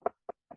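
A hand knocks on a wooden surface three times as a superstitious knock-on-wood gesture. The knocks are faint, short, dull raps with a midrange tone and almost no ring, spaced evenly about a quarter second apart.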